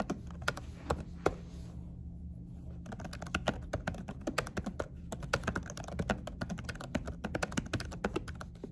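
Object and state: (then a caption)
Silicone-covered laptop keyboard. Fingertips of both hands with short nails type rapidly on a laptop keyboard covered by a dark silicone keyboard cover. The result is a dense stream of short, soft tapping key presses that die away almost instantly over a low steady hum, with a brief pause near the two-second mark.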